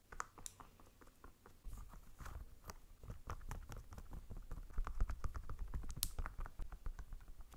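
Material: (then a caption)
Plastic. Long pink nails tap rapidly on a small white plastic bunny figurine held in one hand. The result is quiet, irregular, dry clicking taps with almost no ring, over a low rumbling undertone.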